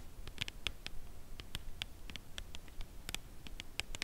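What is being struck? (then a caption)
Cardboard chocolate bar box. Long nails tap the face and edge of a full Lindt Caramel cardboard chocolate bar box held upright at an angle. The result is slow, quiet, dry clicks that stop almost instantly, centered around 3.3 kHz with bright edges, over a soft low rumble.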